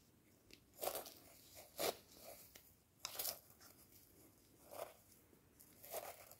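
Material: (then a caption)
Plastic. Wooden chopsticks scrape and tap along the ribbed rim and sides of a hand-held clear plastic jar with a ribbed neck, partly filled with dark dried loose material. Short, dry, crunchy scraping bursts with bright, hissy highs and almost no low end come in separate clusters over quiet background hiss. Each burst stops quickly with no ring.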